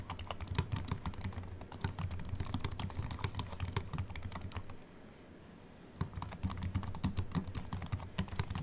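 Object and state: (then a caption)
Aluminium and plastic keyboard. Fingertips of both hands type continuously on a slim Apple Mac keyboard with an aluminium body and white plastic keys. The result is rapid, soft, dry clicks and taps with a low thump under each keystroke. The typing stops briefly for about a second near the middle and then resumes.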